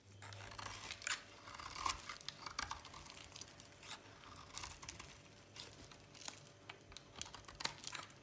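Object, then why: Bar of soap. A utility knife blade carves flakes from a solid red oval bar of dry soap held in the hand. The result is a run of dry, crisp scraping and crunching cuts, bright and papery with a brief tearing texture and almost no low end. The cuts come in an irregular rhythm of short bursts.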